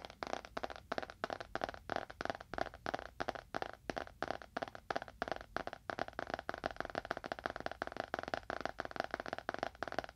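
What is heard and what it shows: A small, solid, dark leather-bound book is held in both hands and tapped quickly on its cover with the fingernails of both hands. The result is a steady stream of rapid, dry, clicky taps in fluttering bursts. They are centered in the midrange with almost no low end and very short decay.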